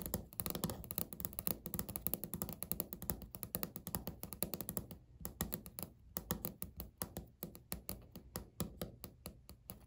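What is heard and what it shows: Natural fingernails tap and knock close-up on a flat, solid, speckled beige laminate countertop. Rapid, dry clicks with very short decay come in a dense flurry for the first five seconds, then in sparser, more separated bursts, each with a low, thumpy body and some bright edge.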